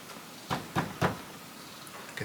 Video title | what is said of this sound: Completely Overwhelmed By My Subscribers... - Cottage Renovation Episode 44 | you can tell a lot by tapping something you know the sound of it